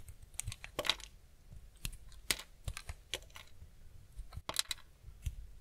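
A steel utility-knife blade shaves and scrapes curls off the edge of a small, solid, cream-white block of semi-dry bar soap held in the hand. The sound is a quick, irregular series of short, crisp, bright scraping and crackling strokes with a faint low thud beneath, each dying away almost instantly.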